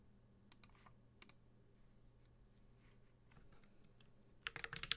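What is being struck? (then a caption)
Mechanical keyboard with plastic keycaps and metal case. A Space65 Cybervoyager 65% mechanical keyboard, with a white-gold metal case, GMK ABS plastic keycaps, a carbon fiber plate and Holy Panda tactile switches, is typed on with bare fingertips. A few sharp, bright key clicks come early, then a quiet stretch, and a quicker burst of taps at the end. The short, crisp clacks stop almost instantly over a faint low hum.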